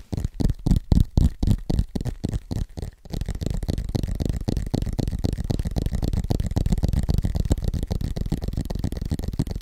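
Fingertips tap fast on the thin aluminum back and edges of an iPad tablet with the Apple logo, held in both hands. For about three seconds there are separate, punchy taps in quick bursts. Then the tapping turns into a dense, continuous patter of short, dull, low thuds with almost no ring.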